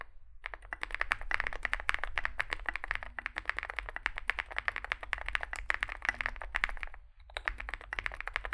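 A compact 65% Zoom65 mechanical keyboard with an aluminium, foam-filled case, lubed switches and SA plastic keycaps sits on a desk mat while both hands type continuously with the fingertips. Rapid, crisp keystrokes click and clack in a steady stream, with a brief pause near the end before typing resumes.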